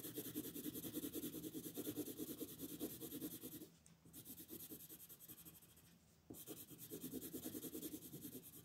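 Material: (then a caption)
Paper. A purple wooden colored pencil shades the body on a flat white paper coloring sheet lying on a table, with vigorous rubbing and scratching strokes. The rapid back-and-forth scratching has a papery midrange rasp and a bright hiss on top. It eases to softer strokes for a few seconds in the middle, then returns to full vigor.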